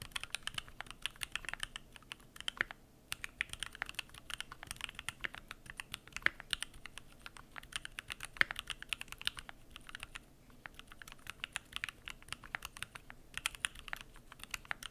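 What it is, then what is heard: Mechanical keyboard with plastic keycaps. Fingertips type continuously on the PBT plastic keycaps of a Keychron Q1 aluminum mechanical keyboard. Rapid, crisp, bright key clacks with almost no ring run nearly without a break, with brief lulls around 3 and 10 seconds.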